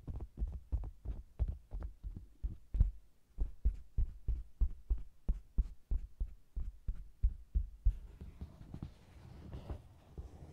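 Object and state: Faux leather cosmetics bag.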